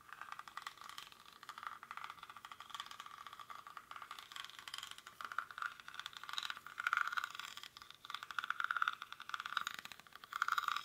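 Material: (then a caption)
Rattan. Fingernails scratch the weave of a small, hollow woven rattan/reed basket held in both hands. The result is a quiet, dense, fast scratchy rattle centered in the midrange with no low end, swelling into louder bursts toward the end.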